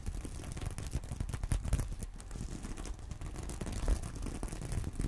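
Long nails and fingertips scratch and brush across a flat, soft purse covered in plastic sequins. The result is a steady, dense stream of soft scraping and tiny clicking ticks, weighted heavily toward a low rumble with little brightness.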